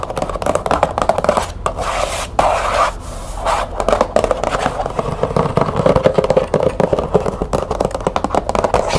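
Long fingernails rapidly tap and scratch the printed surface of a small, closed green cardboard tea box held in the hands. The result is a dense run of dry, clicky taps mixed with papery scraping, centred in the mid-range around 530 Hz with little deep or bright content. Each tap dies away almost instantly.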